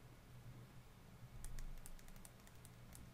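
A slim, small, hollow clear-and-pink plastic OPI cuticle oil pen is held horizontally in both hands and tapped with the fingertips and nails. A steady low hum runs throughout, and from about halfway through a quick run of light, bright clicking taps sounds over it.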